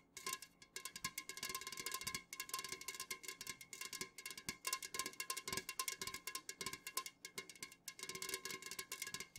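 Long fingernails on both hands rapidly tap the sides of an unopened, full Jumex Guava Nectar aluminum can standing upright. The result is a dense, continuous stream of bright, clicky taps with a faint metallic tone near 1 kHz and almost no ring after each tap.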